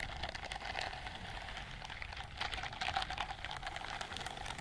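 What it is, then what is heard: Silicone scrubbing glove. Long nails scratch along the bristles on the palm and fingers of a white silicone dishwashing glove. The result is a steady, dense stream of quick, dry scratchy clicks with a bright, hissy top and a faint ringing tone around 770 Hz, growing slightly louder near the middle.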